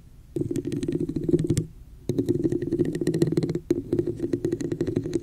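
Long nails tap and scratch the sides of a hollow red plastic cup with an embossed pattern, held over the mic. Quick, dry clicks and scrapes come in three bursts separated by short pauses, each carrying a hollow, boxy resonance in the low-mids.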